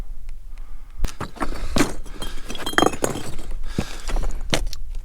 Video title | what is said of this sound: Exploring the Mojave National Preserve | it sounds like glass you know volcanic glass